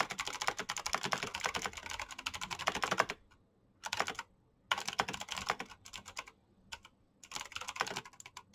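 Fingertips type quickly on a black plastic mechanical keyboard with clicky switches, producing rapid, sharp, bright clicks. The typing comes in bursts separated by brief silent pauses, with a long dense run at the start and shorter flurries after it.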